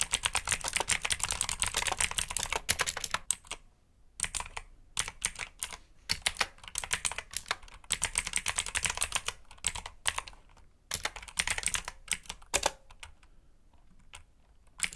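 Fingertips type on a black backlit mechanical keyboard with plastic keycaps, making rapid bright clicky keystrokes. The typing comes in bursts separated by short pauses.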